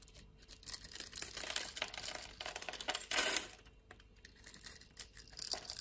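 A metal utility-knife blade cuts and scrapes a solid purple bar of soap with a grid-scored surface, held in the palm, into small cubes. A dense run of crisp, bright crackling and scraping clicks is heard, with a louder burst of crumbling near the middle. Small cubes break away from the bar.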